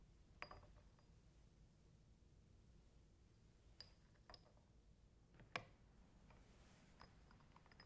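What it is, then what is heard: Empty glass test tubes. Fingers with painted nails tap and clink empty glass test tubes standing in a white rack. A few sharp, bright clinks with very short ring are spaced out over a quiet, low background hiss.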